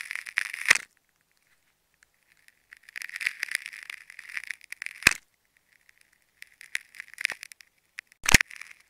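A metal craft-knife blade cuts and scratches into a hand-sized solid ball of tightly wound green, orange, teal and black plastic tape held in the fingertips, exposing concentric rings. Bursts of crackly, bright scraping centered around 2 kHz come in three stretches separated by silence, each ending in a sharp, loud snap.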